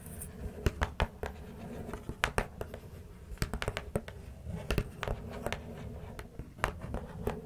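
Long fingernails on both hands scratch and tap the outer faces and flaps of an open, small corrugated cardboard box with plastic-wrapped contents inside. Sharp, dry taps stand out over a soft, continuous scratching rustle in a quiet, close space.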